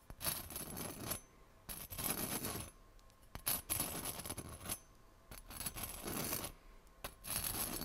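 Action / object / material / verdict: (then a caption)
scrape / bread roll with hard crust, scraped with a steel knife / bread crust / none. A steel kitchen knife blade is scraped and tapped across the hard golden crust of a small, round, solid bread roll held in one hand. It makes rasping, crackly bursts with bright, high crunch, separated by short quiet pauses, throughout the clip.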